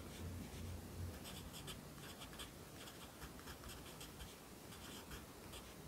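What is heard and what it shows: A yellow wooden pencil held in the fingers writes across an open lined paper notebook lying flat on a desk. The graphite gives soft, dry scratching strokes in bright, uneven bursts over a steady low hum. The level stays quiet and even throughout.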